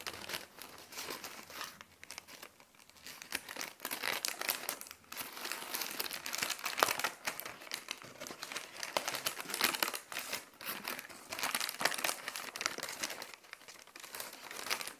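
Thin white tissue wrapping paper is held in both hands above the floor, unfolded and crinkled between fingers with long nails. It makes a steady, dense stream of bright, papery crinkles and soft tearing-like rustles with no low end. Short louder bursts rise and fall throughout.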